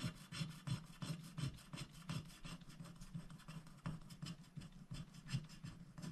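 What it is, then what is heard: Scratch-art paper being scratched. A wooden stylus scratches the leaves of a flower shape on a black-coated scratch-art paper sticker sheet held flat by one hand. Continuous, quick, uneven rasping strokes follow one another with a dry, bright scratch over a low, soft undertone.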